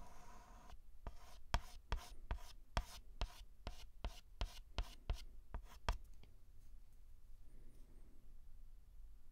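A white chalk stick held in the hand writes curved strokes on a flat black chalkboard, scraping across the board. About 13 quick, sharp taps and scratches come in a loose, uneven rhythm over the first six seconds, each bright and dry with almost no ring. Quiet, faint rubbing follows to the end.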